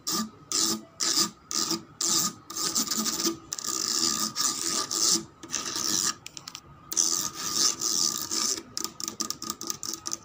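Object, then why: Ribbed plastic part. Long red nails scratch along the ribbed cylindrical section of a cream plastic slide rail, probably hollow, lying on a stone floor. The result is repeated bursts of bright, raspy scratching with short pauses between strokes, dense ridged clicks filling the high frequencies, and little low end.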